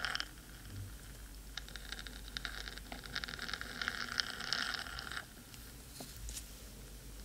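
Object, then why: Metal microphone housing. Long pointed nails scratch the hollow black metal body of a 3Dio microphone, with the other hand resting near the rim. Dense, bright, rapid scratching and patter fills the first five seconds, then drops to a softer hiss with a few scattered scrapes.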